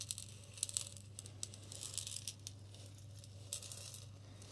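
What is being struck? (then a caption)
Glass bottle partly filled with coarse salt. A clear glass bottle with a green label, partly filled with pink salt, is tilted and shaken by hand. The result is quiet, dry, bright rattling and crinkling with sharp little ticks of grains against the glass. A steady low hum sits underneath.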